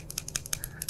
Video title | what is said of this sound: Mower Spindles Explained & Differences Between Residential VS Commercial Spindles | you can hear that there's a little bit of slop there